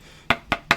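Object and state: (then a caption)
Flexible coated board toy figure. An assembled ogre toy figure, built from flexible board material with a water-based coating, is shaken and gives three short, dry, clacking knocks with a bright, woody tone that dies away almost at once. The figure stays together.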